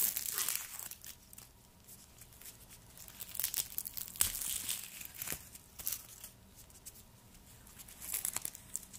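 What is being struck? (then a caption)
Garlic bulb skin. Gloved fingertips peel and tear the dry papery skin from a whole, solid, hand-sized white garlic bulb, and the peeled skin flakes pile up on the wooden board below. Bright, crisp crinkling and tearing come in quick bursts with short, dry snaps. Quieter rustling fills the gaps between them.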